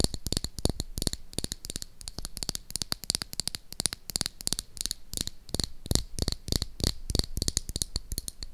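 Long acrylic nails tap and scratch rapidly along the side of a small, hot-pink, hollow plastic toy lipstick case held in one hand. The result is a steady stream of sharp, dry clicks with almost no ring, a bright, high clicky edge over a soft, low thump, and faint scratchy rustle between the taps.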